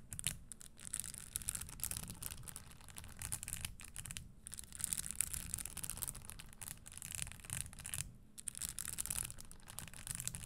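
Long nails scratch and tap the studded surface of a red spiked leather Christian Louboutin stiletto pump held near the mic without touching it. The result is a steady, dry, bright rasping laced with quick light taps and a low rumble underneath. The texture pauses briefly around 4 and 8 seconds.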